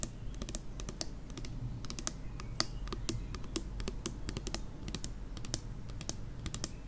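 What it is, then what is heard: Plastic pump bottle tapped with nails. Long nails tap rapidly on the pump cap and body of a plastic nail polish remover pump bottle. The irregular stream of short, crisp, bright clicks dies away almost instantly, over a steady low rumble.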